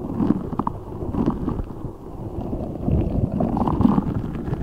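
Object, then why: Rubber spiky ball filled with gel water beads. A large translucent rubber spiky ball filled with gel water beads is squeezed and rubbed with fingertips. The result is a continuous, muffled wet squelching and gurgling, low and dull with almost nothing bright. It swells a little louder toward the end.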